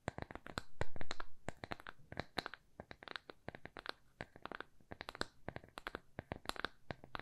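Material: Plywood.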